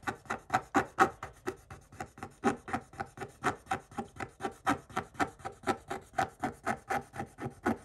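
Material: Coated paper.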